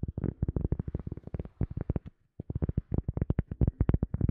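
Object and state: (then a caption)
Cork tapped. A cork object is tapped rapidly with quick fingertip-like taps, about thirty short, dull, low thuds in two bursts separated by a brief pause. Each tap is muffled and dies away almost instantly, with most of its energy in the deep low end and almost nothing bright.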